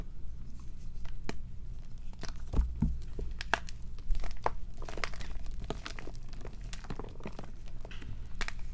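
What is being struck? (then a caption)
Gym chalk block (magnesium carbonate). A solid block of gym chalk (magnesium carbonate) is pressed, crushed and rubbed to crumbs between the fingertips and palms of both hands over a black bowl holding chalk fragments and powder. Dense, crunchy crackles and sharp, bright snaps come in quick irregular bursts over a steady low hum.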